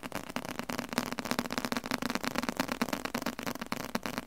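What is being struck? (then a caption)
Large leather-covered book. A large, solid book with a dark red leather cover is held in the hand and tapped rapidly with the fingertips on the leather. The result is a dense, uneven stream of quick, dry taps with a muted low-mid body and bright clicky edges, each fading almost instantly.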